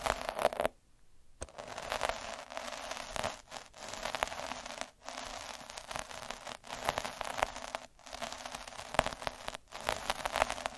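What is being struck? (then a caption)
Needle roller on a thin felt sheet. A hand rolls a black derma roller with metal needles across a thin red felt cloth sheet, scratching its surface. Dense, bright crackling and scratching runs in steady strokes, broken by a near-silent gap early on and several brief pauses between passes.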